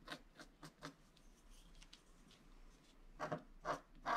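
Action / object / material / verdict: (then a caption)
scrape / wax-coated scratch-art card scraped with a wooden stylus / coated paper / none. A flat black-coated scratch-art card, steadied by one hand, is scratched with a wooden stylus near its bottom edge. Short, dry scratchy strokes come in quick bursts at the start, followed by a quieter stretch of faint rubbing. A few louder, brighter rasping strokes close the clip.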